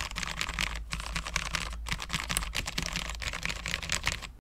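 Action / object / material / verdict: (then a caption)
tap / low-profile mechanical keyboard, ABS keycaps on steel plate / ABS plastic / none. A full-size low-profile mechanical keyboard, a Cherry MX 10.0 with Cherry low-profile switches, dark ABS keycaps and a steel plate, is typed on continuously with the fingertips of both hands. Quick, bright clicky taps overlap in a steady stream over a low background hum.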